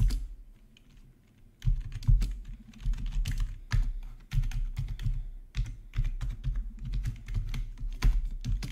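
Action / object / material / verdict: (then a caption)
tap / plastic membrane keyboard / plastic / none. Fingertips of both hands type on a full-size black plastic membrane gaming keyboard with RGB backlight and a hollow housing, resting on a marble surface. After a quiet start, a steady run of dull, hollow, low-heavy key taps follows, each with a short bright click edge and quick decay.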